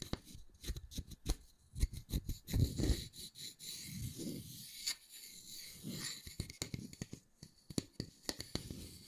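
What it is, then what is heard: Wooden disc. A solid round wooden disc with a center hole is held in one hand while fingernails scratch and tap its face and edge. Short, dry taps and scratchy strokes come in quick irregular bursts, with soft low thumps and brighter scraping texture between them.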